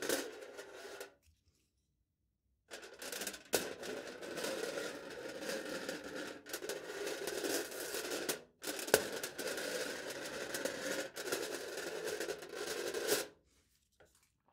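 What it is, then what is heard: Aluminium foil over a plastic cup, scratched. A knife point scratches and engraves short lines into taut aluminium foil stretched over a hollow plastic cup held in the hand. The result is bursts of dry, crackly scraping with a bright hiss and a resonant tone around 430 Hz, broken by short silences.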